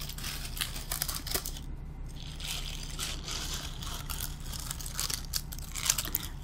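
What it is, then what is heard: Bottle-brush Christmas tree bristles. Fingers and nails rub and scratch through the synthetic bristles of a small green glittery bottle-brush Christmas tree held up close. The result is a steady run of bright, crinkly, crunchy scratching, with sharper crackles here and there over a constant low hum.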